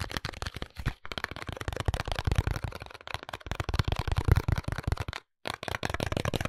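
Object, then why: Cardboard soap box with soap inside. A small pink cardboard soap box, closed with the soap inside, is held and tapped rapidly on its faces and edges with fingertips and nails. The result is a dense stream of dry, hollow taps with a low, thuddy body and crisp, bright clicking from the nails, each tap dying away at once. There is a brief pause near the end before the tapping resumes.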